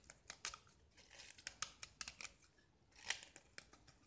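A small solid gypsum tile, white with remnants of green paint, is held in the fingers and scraped with a metal utility knife blade, crumbling off into flakes. A quick series of short, dry, bright scraping and crackling strokes with almost no low end, each stopping at once with no ring, with the sharpest scrape near the end.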